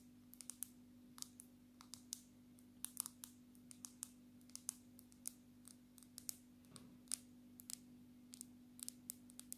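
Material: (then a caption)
Glass. Long natural nails of both hands tap the glass surface of a black smartphone in a case, held upright close up. Quiet, sharp, bright clicks come in an uneven, steady patter, each dying away almost instantly over a faint constant low hum.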